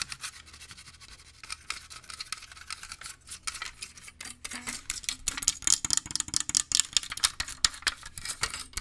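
Fingernails tap and scratch a small glass perfume bottle with liquid inside, partly hidden behind a microphone. A rapid stream of bright, crisp scratches and sharp clicks sits almost entirely in the high frequencies. The taps grow louder and denser in the second half.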